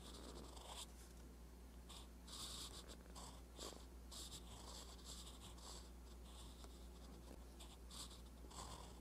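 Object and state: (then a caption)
Pen nib scratching on notebook paper. A metal fountain pen nib scratches across a flat, lined paper notebook page while writing. Soft, bright scratchy strokes come in bursts over a steady low hum.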